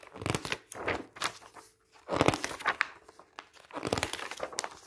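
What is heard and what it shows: Bare fingertips turn, squeeze and rub the pages of a thin glossy paper magazine, *the Art of Beauty*, lying flat on a table. Bursts of dry crinkling and rustling come and go, with a short quiet gap near the middle, before the papery crackle picks up again.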